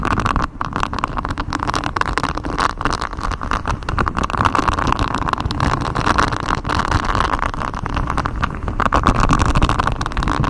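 Fingers in black knit gloves scratch a flexible grey silicone honeycomb-textured mic cover, a rubbery hexagon-patterned sheet wrapped around the microphone. The result is a dense, continuous rustling scrape with a heavy low rumble and a muffled midrange, with little high-end brightness.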